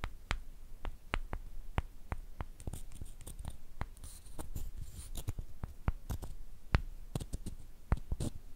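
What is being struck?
Two small light-wood sticks.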